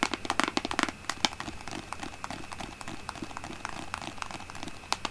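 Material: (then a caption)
Plastic. Long painted nails tap rapidly on the front of a large white plastic Aveeno lotion bottle with a green pump, held in both hands and apparently full. The taps are short, dry and bright, with no ring. They come in quick flurries: dense at the start, softer and scattered through the middle, then sharp again at the end over a quiet steady background.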